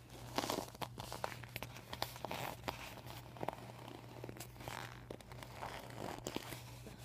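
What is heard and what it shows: Fingertips rub and nails scratch across a flat, empty, deflated PVC vinyl beach ball with a white panel bearing marker writing, then fingers pinch and crinkle the vinyl. The sound is a run of soft, irregular scratchy strokes and sharp crinkly snaps with bright edges over a faint low steady hum.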